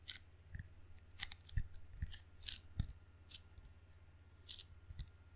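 Fingertips and palms tap and peel across the sticky red rubber facing of a table tennis paddle with a solid wooden blade, with the paddle also held edge-on between the palms. Irregular soft, dull thumps alternate with bright, crackly peeling bursts over a steady low hum.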